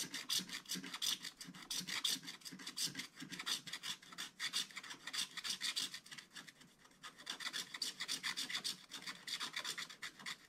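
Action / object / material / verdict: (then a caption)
scrape / wax-coated scratch-art paper scraped with a wooden stylus / coated paper / none. A wooden stylus scratches a tree design into a black-coated scratch-art book page with dense, rapid strokes. The result is a bright, raspy scratching made of many quick, short strokes, with a brief lull in the middle before the scratching resumes.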